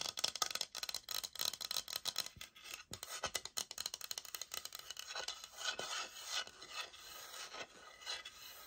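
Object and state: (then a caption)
Laminate floor sample. Long nails scratch and tap the textured face of a thick, light oak laminate floor plank sample with a sticker label, held upright. The result is a quiet run of rapid, dry, bright scraping rasps mixed with short clicky taps, with no low end and almost no ring.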